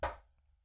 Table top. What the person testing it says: It sounds like there's like a spaceship in it.